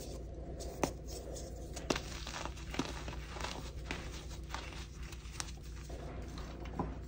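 Both chalk-covered hands press, rub and squeeze a loose heap of orange-tinted crushed gym chalk (magnesium carbonate powder) with small crumbly chunks, crumbling the pieces under their fingertips and palms. A soft, continuous crinkly crumbling sits over a steady low rumble, broken by several short, sharper crunches that die away almost instantly.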